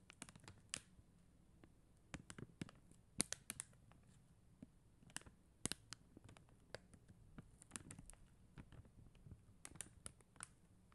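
Long acrylic nails tap and click on the gems of a flat sheet of plastic acrylic rhinestone stickers on white backing. Quiet, sharp, dry clicks and light scratches come in irregular bursts with brief pauses and no ring. Each click is bright, with a soft low hum beneath.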